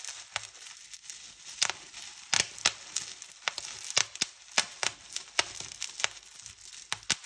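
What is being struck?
Plastic bubble wrap.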